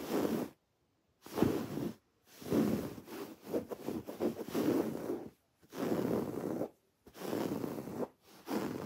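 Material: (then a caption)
Fabric. Long dark-painted nails and fingertips scratch a plain white, textured woven fabric pillow that is soft, stuffed and held upright. Soft, rustling scrapes come in several irregular bursts separated by short silences. The sound is mostly low-mid and muffled, with faint high hiss.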